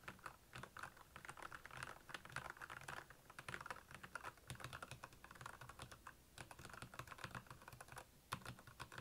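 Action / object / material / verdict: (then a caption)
tap / plastic mechanical keyboard / plastic / none. Rapid fingertip typing on the keycaps of a black, backlit plastic Royal Kludge mechanical keyboard. A steady stream of short, crisp clacks with a low thock under them fills the whole clip, each keystroke dying away almost instantly, with a few louder strikes standing out near the middle and end.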